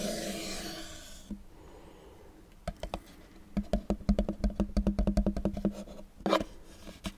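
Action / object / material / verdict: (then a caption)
scrape / small cardboard cube box / cardboard / none. A small, dark, hollow cardboard cube box is held in one hand and rubbed and scratched with the fingertips and nails of the other. A soft, hissing rub fades out after about a second. After a quiet stretch, a run of dry, hollow scratches and clicks with a low boxy thump builds into a dense burst, then a louder scrape and a few last light scratches.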